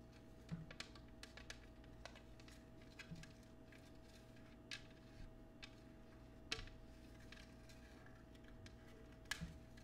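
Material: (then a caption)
Glass. Fingernails tap and scratch the patterned foot of an empty, clear cut glass oval dish held up in the air. Quiet, scattered bright ticks and short scrapes die away almost instantly over a steady low hum.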